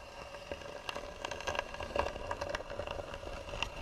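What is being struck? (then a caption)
Carved varnished wooden box. Long nails scratch and tap across the hollow, carved, varnished wooden lid of a box. Quiet, dry scraping is broken by sharp, brief ticks that die away almost at once, with a faint steady hollow tone beneath.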